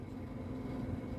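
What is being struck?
Nothing is struck.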